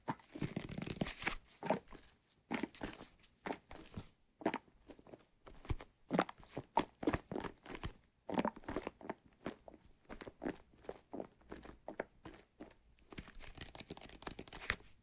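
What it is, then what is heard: Plastic bottle partly filled with soapy water. A white plastic bottle partly filled with soapy liquid is tilted and shaken close to the microphone while fingers tap its side. The result is a quick, irregular run of crisp, crackly taps and sloshing crunches in short bursts, each dying away almost at once, with brief quiet gaps between clusters.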